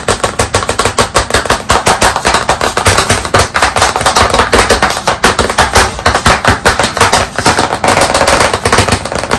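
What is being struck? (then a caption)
Wood-framed chalkboard tapped with chalk sticks. White chalk sticks held in both hands tap fast on a solid, medium, flat black chalkboard panel set in a wooden frame. About 58 rapid, dry, clicky knocks with a mid-pitched tone run without pause across 9.5 seconds, each dying away quickly.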